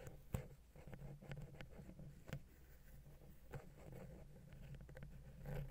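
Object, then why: Metal microphone capsule touched with a wooden pick. A wooden ear pick scratches and taps the side of a silver metal XY stereo microphone capsule on a Zoom H6 recorder. The result is quiet, close, low-heavy rubbing and scraping, broken by a few sharper short taps that die away almost at once.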